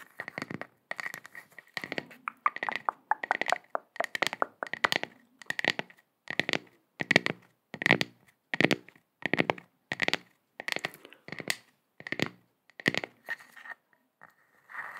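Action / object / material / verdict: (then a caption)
scrape / flour tortilla / flour dough / none. A round, flat, off-white flour tortilla with brown toasted spots, about hand-sized, thin and soft, is held close to the microphone and scratched and rubbed with long painted nails. It gives off a steady run of short, bright crinkling and crunching bursts with quick pauses between them, centred around 2 kHz with little low end.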